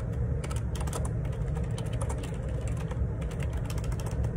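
Fingertips type continuously on the plastic keycaps of a black Perixx Periboard 612 wireless Bluetooth dual ergonomic split keyboard resting on a grey table. The result is a dense, steady run of short clicky key taps over a deep, low thumping body.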